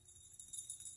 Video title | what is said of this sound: Another CRAZY Town Wide Yard Sale Haul! My eBay Store Is Getting Stocked! | Sometimes pieces break off on the interior during the firing process, but there's no external damage, but you do hear it when you shake it.